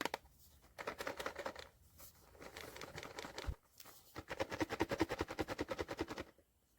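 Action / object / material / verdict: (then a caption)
shake / cardboard blind box with vinyl figure inside / cardboard / none. A sealed Skullpanda cardboard blind box holding the vinyl figure The Trust is shaken, producing bursts of rapid rattling and knocking as the contents shift inside. There is a brief pause near the middle before a louder, steadier run of shaking, and the box turns out to contain The Trust.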